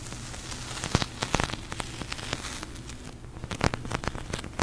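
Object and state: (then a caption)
Polyurethane foam squishy toy. Fingertips and long nails tap and press the surface of a large, soft, pink glossy sticky polyurethane foam squishy toy, producing sticky crackling peel sounds. Sharp, brief snaps and pops rise irregularly over a low, steady hum, sounding close and quiet throughout.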